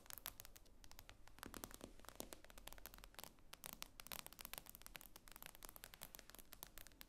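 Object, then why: Tablet glass screen. Long painted nails tap and scratch the glass screen of an iPad lying flat on a wooden table. A quiet, rapid stream of crisp, bright clicks runs together with scratchy scraping over a faint steady low hum, each tap dying away almost instantly.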